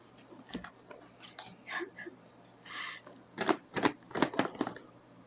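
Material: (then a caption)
Cardboard. A cardboard Lazada mystery box, worth ₱299, is shaken by hand, and the single item inside slides and knocks against the walls in a series of short, dry thuds and rattles that grow louder and sharper toward the end. The one item turns out to be a pack of Uno cards, not a cellphone.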